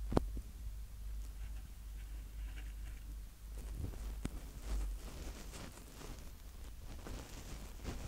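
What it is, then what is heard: Plastic handheld recorder, mic heads tapped. Fingertips of both hands tap and rub directly on the two protected mic capsules on top of a small black Tascam DR-05X handheld recorder with a plastic body. The result is quiet, muffled, bass-heavy rubbing and rustling, broken by three short, dull thumps with almost no ring.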